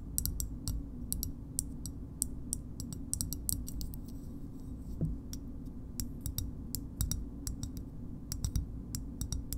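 A small, hard green plastic shoehorn is tapped with long nails, giving a quick series of sharp, bright clicks that die away almost instantly. The taps land at an uneven pace over a steady low hum.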